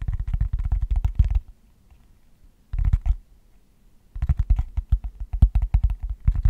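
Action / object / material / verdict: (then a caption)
tap / hollow cork tray / cork / none. Fingertips tap and scratch the cork underside of a long, shallow, hollow cork tray held bottom-up. Bursts of rapid, soft, low hollow thuds with light scratchy texture are broken by two short quiet pauses, and the tapping picks up again for the final stretch.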